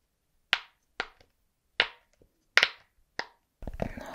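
Fingertips press and pop the hollow bubbles of a flat, hand-sized, rainbow heart-shaped silicone pop-it fidget toy held in both hands. Seven sharp, bright snapping pops sound, five loud and two faint, each cut off almost at once. In the last half second a denser, crackly rustling texture takes over.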